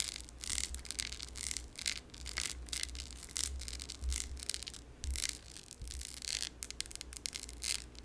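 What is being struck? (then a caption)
Glass candle jar filled with wax. A glass candle jar filled with yellow wax, with a lid, is held in one hand and tapped and scratched with very long yellow nails. Quick, bright scratchy strokes and light ticking taps follow one another over a steady low hum.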